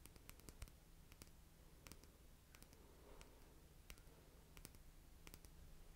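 A small red Essie nail polish bottle, made of glass with a white plastic cap and filled with polish, is held in one hand and tapped with long painted nails. The result is a quiet, irregular series of sharp, bright clicks and ticks that die away almost instantly, over a steady low hum.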